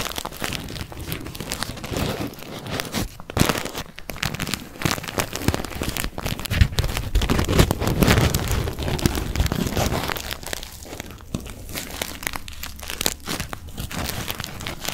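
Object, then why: Paper tea bag. Fingertips crinkle and rub a small, soft, empty-looking white paper tea bag with a string, held right in front of the microphone. The result is a dense, continuous papery crackle and rustle with a bright edge, plus a heavy low thump from the close handling. It swells slightly in the middle and then eases back.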